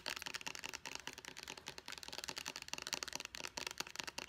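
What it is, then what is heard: Plastic pump bottle. Long nails tap and scratch quickly on a white plastic pump bottle near its label. The result is a dense run of sharp, bright clicks and light scraping with almost no low end and no ringing.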